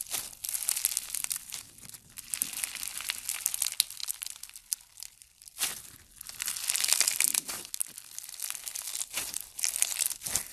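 White and pink floam slime, a soft solid mass dense with small foam beads, is squeezed, folded and rubbed between the fingertips. It gives a steady run of bright, crunchy crackling and crinkling with short quieter gaps, almost all of it high in pitch.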